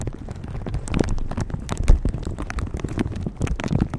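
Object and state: Plastic shower cap being scratched.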